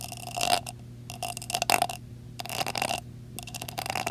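Fingertips and nails tap and scratch the top of a metal screw lid on a glass jar decorated with blue rhinestones. Bursts of bright, scratchy clicking alternate with quieter pauses over a steady low hum. A faint metallic ring is heard in the midrange.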